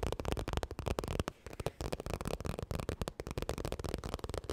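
Fingernails tap and scratch fast across a holographic, crocodile-textured vinyl makeup bag, making dense, dry clicking taps with short scratchy rasps. A brief quieter pause comes near the middle.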